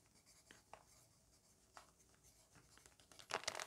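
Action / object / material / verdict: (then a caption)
scrape / graphite pencil on a paper notebook page / paper / none. A graphite pencil tip scratches across the page of an open lined paper notebook lying flat on a fabric surface, writing words in a list while a hand with long pink nails holds the page. Soft, dry, bright scratching strokes come in short, irregular bursts over quiet paper hiss. The strokes grow denser and louder toward the end.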